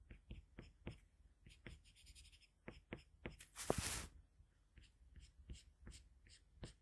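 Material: Paper.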